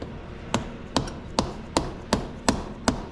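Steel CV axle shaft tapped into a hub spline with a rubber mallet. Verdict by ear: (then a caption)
Seated. A rubber hammer taps a steel CV axle shaft into the hub spline on a 2007 Suzuki King Quad 750AXI, giving seven short, evenly spaced thuds with little ring. The sound turns from hollow to solid as the axle becomes fully seated in the spline.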